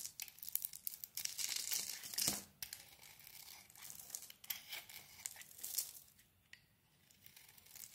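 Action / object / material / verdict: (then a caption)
scrape / bar of soap shaved with a metal blade / soap / none. A metal blade shaves a solid oval soap bar with a glossy dark brown coating over a green core. The result is a quiet series of crisp, bright scraping and crinkling strokes, with a louder, denser burst of shaving early on followed by lighter, uneven scrapes.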